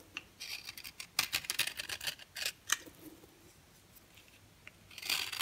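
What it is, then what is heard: Dry bar soap. A yellow oval bar of dry solid soap, held in the hand, is scraped with a box cutter blade, and powder falls away. A rapid series of short, crisp, bright scraping strokes sounds with almost no low end, then a quieter pause, and a longer, louder rasping scrape at the end.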